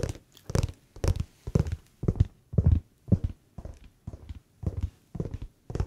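Fingertips tap the smooth grey rubbery sole of a grey slipper with a fuzzy fleece lining, held in the hand. The taps come in soft, quick clusters of dull, low thumps with almost no ring, repeating at a steady, unhurried pace.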